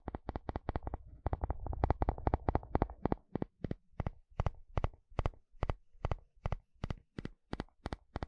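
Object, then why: Plastic wide-tooth comb and wooden spatula. A wooden spatula strums and scratches across the long, wide teeth of a blue plastic comb, making quick, dry clicking ticks. A denser, rasping scrape fills the first few seconds before the strokes settle into evenly spaced, sharp ticks with a low, thumpy body and almost no ring.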